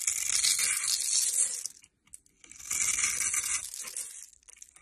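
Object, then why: Bar of soap cut with a metal blade. A metal blade scrapes and cuts across the grid-scored surface of a solid rectangular bar of blue and white striped soap held in the hand, knocking small soap cubes loose. The sound is bright, dense crackly scraping in two long bursts with a short quiet gap between them.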